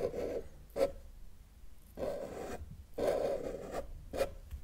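A felt-tip marker held in the fingers is dragged across a flat white paper sheet lying on a table with a solid surface, drawing lines. It makes a series of dry scratching strokes, some long and some short, with a squeaky midrange tone around 560 Hz and quiet pauses between them.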